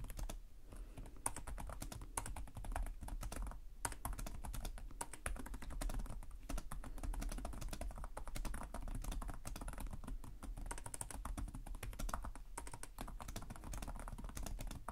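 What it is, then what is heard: Plastic laptop keyboard being typed on. Both hands type with their fingertips on a black laptop's plastic chiclet keys, which sit on a hollow chassis. The result is a steady, rapid stream of short, crisp clicks and taps with a dull low thud beneath them. The level stays even throughout.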